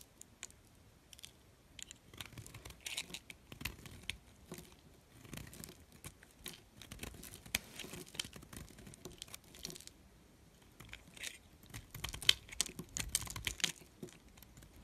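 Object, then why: Bar of soap. A blade scrapes and cuts crumbly shavings from a solid red figure-shaped soap held in hand. The result is a quiet, bright, dry stream of crackly scrapes and crunchy bursts with almost no ring. There is a brief lull just before the ten-second mark, then the cutting picks up again more densely.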